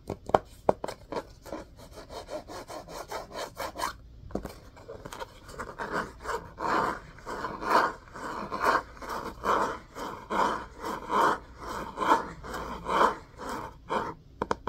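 An orange and cream hardcover book with a cloth-covered cardboard cover is held upright while its spine and top edge are rubbed and scratched with fingernails. Quick, sharp scratches and ticks come first, followed by a steady series of dry, rasping strokes about once per second. The sound is mid-pitched, with little bass or high hiss.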